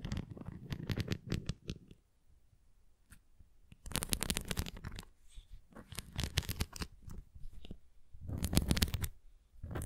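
Long nails scratch the nubbed cross and rim of a red plastic flying ring toy with nubs. Bursts of dry, bristly scratching with a low rumbly body and bright crackle come in clusters, separated by quiet pauses near 2 s and 5 s.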